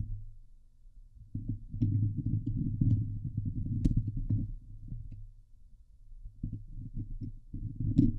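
Long glitter nails on both hands scratch the hollow steel mesh grille of a Blue Yeti microphone, producing dense, low, rumbling scrapes with little high-end. The scratching swells in busy bursts, thins to a quiet patch around the middle, then picks up again with a few brighter ticks near the end.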